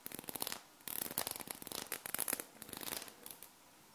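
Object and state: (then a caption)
Small metal magnetic balls scratched and tapped. A hexagonal sheet of small solid metal magnet balls is held and bent in the hands, then two long painted nails scratch and tap across the ball surface. The result is quiet, dense bursts of bright, crisp clicking and scratchy rattling with very short decay and almost no low end.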